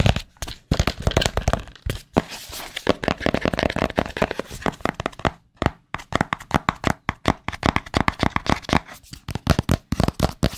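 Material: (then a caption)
Cardboard. Fingertips tap and scratch a small, hollow white cardboard AirPods Pro box close to the mic. Rapid, dry taps with a low, papery thump come in quick runs, mixed with brief rough scratching bursts. Each tap dies away almost instantly.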